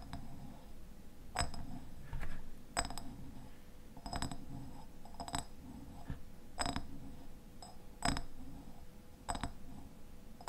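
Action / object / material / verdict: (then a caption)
tap / filled glass jam jar / glass / none. Fingernails tap and scratch the glass sides of a medium raspberry jam jar with a red paper label, a white lid and dark contents inside. Sharp, brief clicks ring out with a short, bright glassy chime, spaced irregularly over a steady low scratching rustle.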